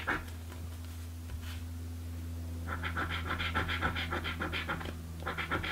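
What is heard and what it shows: A coin scratches the latex panels on a blue paper birthday scratch lottery ticket, producing rapid, rhythmic raspy strokes centered around 1.3 kHz with bright hiss. After a quieter start, the scratching runs steadily from about 2.7 s, pauses briefly near 5 s, then resumes, all over a constant low hum.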